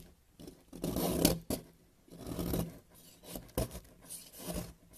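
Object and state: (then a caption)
Soap bar being shaved. A hand with teal nails holds a solid white bar of soap while a yellow utility-knife blade repeatedly shaves and scrapes crumbly soap off it, the flakes gathering on the white surface below. Dry, gritty scraping strokes come in uneven bursts, broken by a few sharp clicks and quiet pauses.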